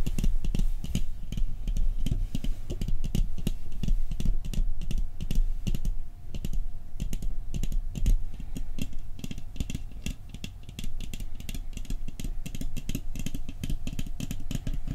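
The Christmas-scene lid of a round metal cookie tin, held upright, is tapped quickly with fingertips. The result is a fast, continuous patter of dull, low-pitched taps that die away almost instantly. The tapping softens briefly around 6 and 10 seconds.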